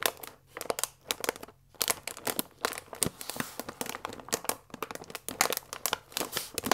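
A full paper fusilli bag with a plastic window lies flat and is rubbed and scratched with fingers and nails. The result is a dense run of sharp, bright crinkles and scratchy rustles with brief pauses. There is almost no low end.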